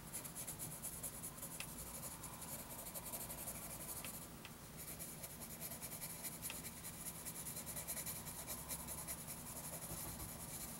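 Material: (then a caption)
Paper. A wooden graphite pencil makes short hatching scratches across a lined paper notebook page while drawing an elephant. The result is a steady, dense scratchy rasp with bright hiss over a faint low hum, with a brief dip in the scratching just before the midpoint.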